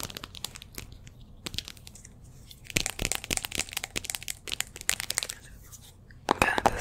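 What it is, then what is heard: Glazed ceramic jar. Long nails rapidly tap and scratch the outer wall of a small cream speckled glazed ceramic jar or candle vessel held in both hands close to the microphone. Dense, bright clicks and crisp scratchy crackles, each dying away almost instantly, come in irregular bursts. The last half-second is louder and busier.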